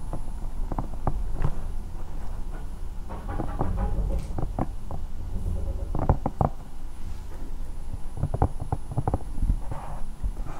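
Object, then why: Silicone night lamp. Long nails of both hands scratch and tap a hollow, bear-shaped silicone night lamp. Soft, muffled taps and clicks land over a steady low rubbing rumble, with short dull knocks that die away almost instantly and little bright content.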